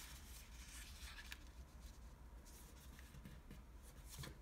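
Fingertips fold a single dark navy blue Japanese origami paper sheet on a wooden table and rub its creases flat. Quiet, soft papery rustles and brushing scrapes with a few brighter crinkles sit over a steady low hum.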